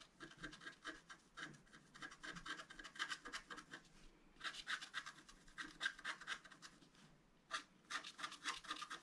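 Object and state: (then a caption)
Scratch art card being scratched. A thin wooden stylus scratches lines into the coating of a flat, black-coated scratch art card, about A4 in size, lying on a table and held down by one hand. Quick, dry, bright scratching strokes come in rapid bursts, centred around 1.6 kHz with little low end. Two short pauses break the strokes, near the 4-second and 7-second marks.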